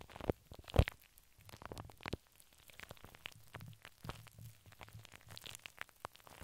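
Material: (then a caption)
Steel. Long pink acrylic nails on both hands scratch and tap a large, hollow, dome-shaped steel wire-mesh microphone grille, heard close up. Quiet, rapid clicks and rough scratches sit over a low, muffled rumble, with two sharper taps standing out near the start. The sound stays soft and busy, with a dense, crackling texture throughout.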